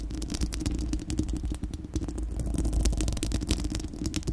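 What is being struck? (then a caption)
Steel-mesh microphone grille. Long acrylic nails on both hands scratch a bare, round, hollow steel-mesh microphone dome grille. The result is a dense, continuous rasping and clattering with quick bright scrapes over a heavy, boomy low rumble.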